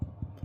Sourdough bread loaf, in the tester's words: nice Hollow sound that's what we're looking for so it's been baked through